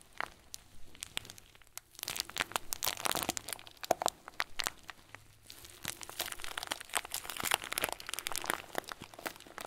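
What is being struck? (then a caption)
Plastic bag filled with small plastic beads. A hand-sized clear plastic bag full of small white plastic pearls is kneaded and crinkled with fingertips. Dense, bright crinkling and crunching come in bursts of sharp, dry clicks, with brief quieter lulls around the two- and five-second marks. Each crackle stops at once, with no ring.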